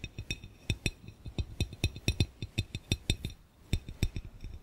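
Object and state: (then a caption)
Glass fishbowl tapped. A clear, round glass fishbowl, hollow and empty, is tapped quickly by one hand's fingernails in a rapid, uneven series of clinks. Each tap gives a dull, low knock near 100 Hz topped with a bright, glassy tick that dies away almost at once.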